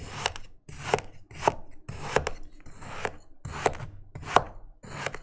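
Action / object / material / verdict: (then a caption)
scrape / kinetic sand cut with a plastic knife on a plastic board / kinetic sand / none. A flat patty of grey kinetic sand on a green plastic cutting board is cut and scored repeatedly with an orange plastic knife held in the fingers, forming a crosshatch pattern. Each stroke gives a short, soft, gritty crunch and scrape with a brief mid-range click, with quiet gaps between strokes.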